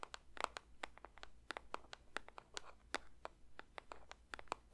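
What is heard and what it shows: A paper box is lightly tapped with the fingertips for ASMR, producing a rapid, uneven series of soft, dry taps. Each tap is a brief papery click with a bright, crisp edge and almost no ring. The taps sit over a quiet, low background hum.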